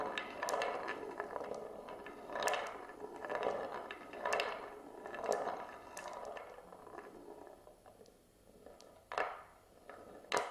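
A glass marble rolls along the rim groove of an oval wooden plate, which is tilted level with the camera. A continuous rumbling roll is heard, centered in the mid range around 1 kHz, with short bright clicks. Louder swells come roughly once a second, and a few sharp taps stand out near the end.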